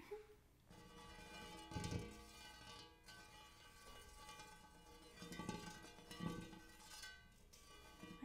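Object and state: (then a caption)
Hammered metal bowl. Fingertips and nails tap and scratch the dimpled inner surface of a large, shallow, hollow, empty hammered gold-colored metal bowl or tray. Soft thumps set off a sustained shimmering ring of stacked metallic overtones over a low hum near 117 Hz, with bright scratchy texture between the taps.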